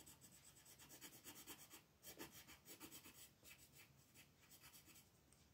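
A wooden colored pencil held in the fingertips rubs and scratches over a flat sheet of white coloring book paper printed with a mandala, lying on a table with the other hand resting on it. The continuous coloring strokes make a quiet, bright, papery scratching that swells and fades in loosely regular passes, about 85 per minute.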